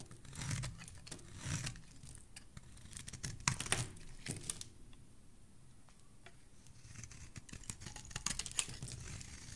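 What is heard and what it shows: A solid white curved soap bar held in the hand is shaved with a metal blade, peeling off white curls. Dry, crackly scraping strokes come in quick bursts with a low, soft undertone. They thin out to a faint rustle midway, then pick up again toward the end.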